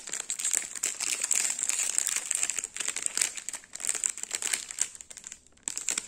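A small, full Gullon Cuor di Cereale sandwich biscuit bar in a sealed plastic/foil film wrapper is held and turned in the fingers while the fingertips crinkle it. Dense, bright crackling and crinkling continues almost throughout, with a high hiss band and no low end. It drops briefly to near silence just before the end, then resumes.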